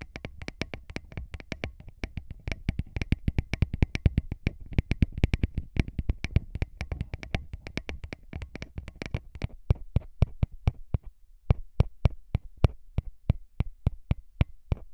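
Fingertips tap rapidly on the metal grilles of small, hollow metal microphone capsules on a recorder, giving a dense run of short, dry taps. Each tap is a deep, thudding knock with a faint bright click and almost no ring. After about eleven seconds, the taps slow to a steadier, more widely spaced beat.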